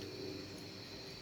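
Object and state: Nothing is struck.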